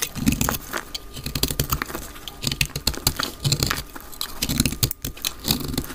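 A solid, palm-sized, dry light green soap bar held in the hand is shaved into flakes with a utility knife blade. The result is a rapid run of short, dry scraping and cutting strokes, each a crisp, bright crunch over a soft low body that dies away almost instantly.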